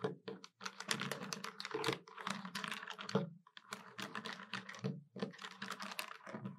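Long nails tap the keys of a hollow black plastic desktop calculator quickly with many fingers. The result is a dense run of short, bright plastic clicks over a low hollow thump, broken by brief pauses. Each tap dies away almost at once.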